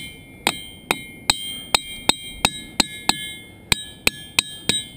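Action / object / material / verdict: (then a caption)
strike / boulder struck with a hammer / rock / ringing. A hammer strikes a ringing boulder about a dozen times in an uneven rhythm. Each hit is a sharp, bright clink with sustained high, bell-like tones near 3.7 kHz that carry between strikes. The boulder rings well, like a bell.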